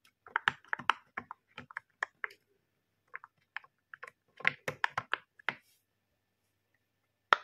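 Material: Silicone.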